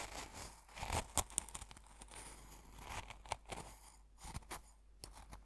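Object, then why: Coarse salt in a glass jar, stirred with a metal fork. A metal fork pokes and stirs the coarse salt crystals in an open small glass jar full of coarse salt, crunching them. It makes quiet, dry, gritty crunching and scraping with a bright crackle, broken by a few sharper clicks that stop almost instantly.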